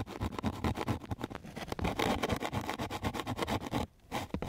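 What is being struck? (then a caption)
Coarse sandpaper sheet scraped with a wooden stick. A flat wooden popsicle stick is scraped repeatedly across a flat sheet of coarse sandpaper. The result is a fast run of rough, gritty strokes with a dense low-to-mid body and a faint bright hiss. The scraping pauses briefly near the end, then resumes.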